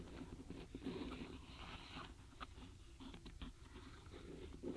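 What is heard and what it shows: Long fingernails tap and rub across the tops of a full tray of small, solid wooden alphabet stamp blocks packed in a paperboard box, with fingers resting on the block edges. The result is a quiet run of soft, dry wooden clicks and scratchy rubbing with a low, woody body and short, brief decays.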